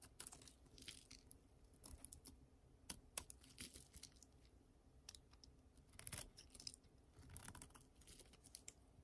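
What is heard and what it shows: A solid, dry pink soap bar held in the hand is scraped and cut with a utility knife blade, peeling off curled shavings. Quiet, dry scraping runs throughout, broken by many short, crisp crackles and snaps with bright, high edges and no ring.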